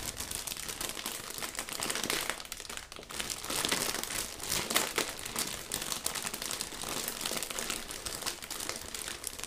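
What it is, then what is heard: Plastic zip bag with rubber gloves inside. A clear, thin, medium-sized plastic zip bag holding pink rubber gloves is pressed flat with the palm, then squeezed and crumpled with the fingertips. The result is a steady, dense, bright crinkling that swells and eases throughout, with little low end.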